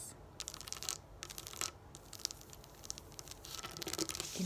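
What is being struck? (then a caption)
Plastic dome sticker sheet. Long acrylic nails tap and scratch the raised plastic domes of a pop-up dot sticker sheet lying flat on a wooden table. The result is a quiet run of bright, crisp clicks mixed with dry, crinkly scratching, each tick dying away almost instantly.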